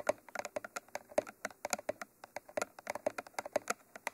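Long manicured nails tap and scratch across the top of a Mitra 3D Pro binaural microphone, a mid-sized hollow cylindrical tube with a textured black coating and white end cages. About 27 quick, dry clicks come in an uneven, typing-like rhythm, each with a hollow mid-pitched knock and a bright tick. Each dies away almost at once.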